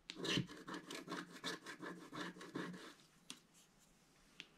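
A wooden stick scratches across a flat black-coated scratch-art paper page while the other hand holds the page in place. About ten short, raspy scratching strokes with a low tonal rasp run for roughly three seconds, then fade to quiet broken by two sharp, bright ticks.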